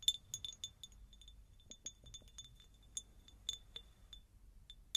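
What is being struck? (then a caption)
Faceted glass jar. An empty, hollow, medium-sized faceted cut glass jar is tapped with long nails in a quick, irregular series of light taps. Each tap gives a bright, high glassy clink with a very short ring, and a few strikes land with a slightly duller, fuller knock. The sound stays thin and high with almost no low end.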